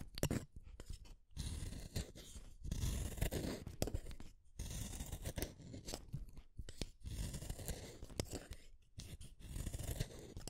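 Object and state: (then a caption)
Wooden colored pencil being shaved. A solid purple wooden colored pencil is shaved with a small metal blade, making dry, rasping scrape strokes in several bursts separated by brief pauses. The strokes are quiet and weighted toward a low, gritty rumble, with crisp, short-lived shaving crackles on top.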